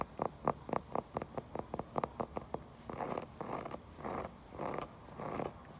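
A wooden surface outdoors is tapped with a quick series of short, dry knocks in the midrange, followed by five longer, rasping scratching strokes. The taps are sharp and die away almost instantly, and the scratches sound softer and breathier.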